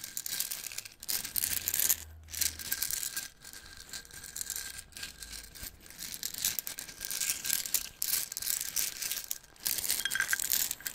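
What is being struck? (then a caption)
Plastic jar filled with wooden toothpicks. A small clear plastic jar with a white cap, full of wooden toothpicks, is held in both hands and shaken and tilted so the toothpicks rattle inside. The result is a bright, dense, high-pitched clatter in uneven bursts, with brief quiet gaps between shakes.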